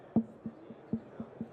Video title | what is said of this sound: 3SAE PentaPod® Product Line Walkthrough with Scott Jordan | Okay, I'm tapping the steel post. You can hear the resonant response of the assembly.